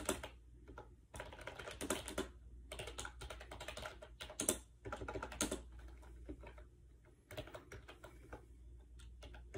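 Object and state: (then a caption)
Plastic keyboard keys being typed on. Fast fingertip typing on a compact gray plastic AJAZZ 308i wireless Bluetooth keyboard with round white keycaps, resting on a bed. Hollow, bright plastic key clacks come in quick dense bursts with short pauses, over a steady low hum.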